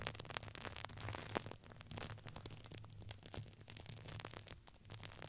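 A red patterned fabric ring with a crinkly filling is squeezed and crinkled by hands and nails. Quiet, dense crackling and rustling with many short sharp clicks runs throughout over a steady low hum, with a slightly louder snap just after the first second.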